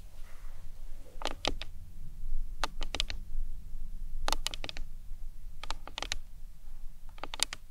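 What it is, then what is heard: Plastic anatomical skull model. Long nails tap the sides of the cranium on a hollow plastic anatomical skull model. Quick, bright, clicky taps come in short bursts and die away instantly over a low, steady background rumble.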